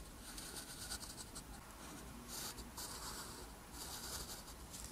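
A metal pen nib scratches across a flat, thin sheet of lined white paper while writing letters in green ink. The result is a quiet, continuous bright scratching with soft swells of hiss between strokes over a low background rumble.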